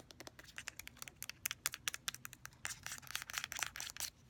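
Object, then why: Plastic cosmetic squeeze tube. Fingernails rapidly tap and scratch an orange, filled plastic squeeze tube of face mask with a flip cap, working over both the tube body and the cap end. The sound is a quick, quiet run of sharp, bright plastic clicks that blur into denser crinkly scratching toward the end, each tap dying away almost instantly with no low thump.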